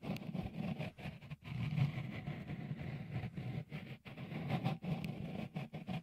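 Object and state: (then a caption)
Silicone microphone cover being rubbed and tapped. Fingertips rub and tap a small hollow white dimpled cover, likely silicone, fitted over the left microphone capsule of a Tascam Portacapture X8. The result is a dense, muffled low rumble of scratchy friction, broken by brief quiet gaps.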